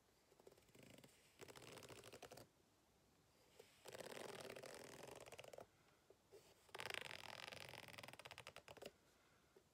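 A white plastic fork held in the hand scratches across the ribbed surface of a medium-size green rubber hot water bottle, lying flat on a table, hollow and apparently empty. Three bursts of rapid, rattling scraping sound bright and papery, with the fork clicking over each rib, separated by quiet pauses with a few faint ticks.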